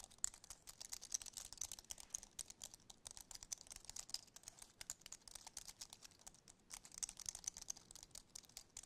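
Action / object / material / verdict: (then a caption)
tap / aluminum keyboard with plastic keys / plastic / none. Fingertips and nails tap and scratch the keys and edges of a compact white wireless keyboard with an aluminum base and plastic keys, held tilted in both hands. The result is a dense, continuous stream of quick, dry, bright clicks and scratchy ticks with almost no low end and no ringing.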